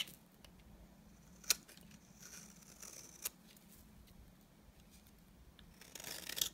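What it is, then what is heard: Bar soap scraped with a blade. A utility knife blade scrapes the surface of a solid, dry white bar of soap, making a quiet, bright, hissy scraping. Two sharp clicks stand out along the way, and a denser, louder burst of scraping comes at the end.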